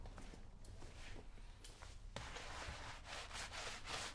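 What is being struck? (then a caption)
Leather work boot scrubbed with a bristle brush. A brown leather lace-up work boot, worn on a foot and covered in white cleaning foam, is scrubbed back and forth with a round wooden-handled bristle brush. Soft, scratchy bristle strokes rasp over the leather against a low steady hum, then turn louder and denser about halfway through as the brushing speeds into a bright, continuous scrub.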